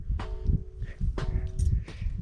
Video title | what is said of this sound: Garjai Mata Dham | यह कोई घंटी की आवाज नहीं है यह उसी चट्टान की आवाज है